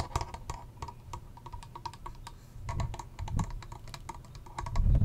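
A small pink plastic hand mirror with bunny ears and a textured back is tapped rapidly with long nails. The result is a quick, uneven patter of short, dry clicks with a faint ring around 1 kHz over a low rumble, growing louder toward the end.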